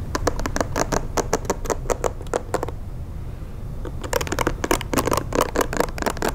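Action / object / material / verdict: scrape / plastic hair brush bristles / plastic / none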